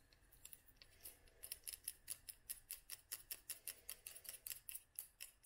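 Long nails tap a small clear glass dropper bottle full of oil and dried flowers. The result is a quick, uneven run of faint, bright clicks with very short ring and almost no low end.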